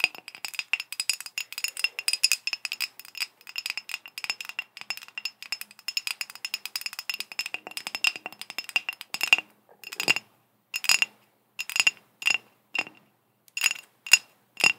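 Long green acrylic nails tap and scratch all over a ribbed, hollow, empty-looking green glass bottle. Dense, rapid clicking and clinking with a bright, glassy tone near 2.8 kHz fills the first nine seconds, then thins into sparser, separate taps. Each tap is short and dry, with almost no low end.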